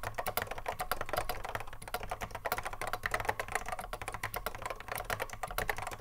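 Fingertips of both hands touch-type continuously on a cream Apple M0110A keyboard, with a hollow plastic case and Alps SKCC mechanical switches, sitting on a wooden desk. Rapid, crisp clacking keystrokes stream steadily, each a short, bright click with a midrange body that dies away almost instantly, over a faint steady low hum.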